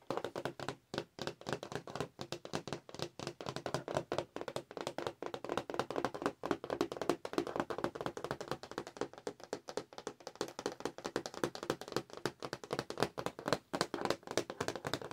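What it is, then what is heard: Cardboard and plastic toy package. A Star Wars R2-D2 figure package, a flat printed cardboard backing with a clear plastic window over the figure, is held in the hands and tapped quickly with long acrylic nails. The result is a dense, continuous stream of short, dry clicks and taps that barely pause for about fifteen seconds.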